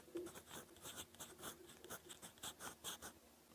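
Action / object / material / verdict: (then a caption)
scrape / metal pen nib on paper notebook page / paper / none. A gold fountain pen nib scratches across a lined cream paper notebook page while writing. Short, dry scratching strokes come in quick bursts with bright, hissy high content and a faint low-mid tone around 350 Hz. The strokes stay soft and close, and each one dies away almost at once.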